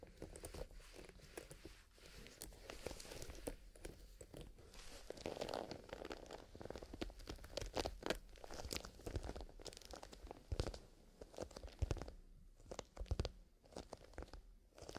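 A small black leather zippered pencil case filled with colored pencils is held in both hands while fingertips squeeze, rub and press the soft leather. A steady stream of close, quiet crunching and crinkling rustles continues throughout, with short dry snaps and faint low bumps from the pencils shifting inside.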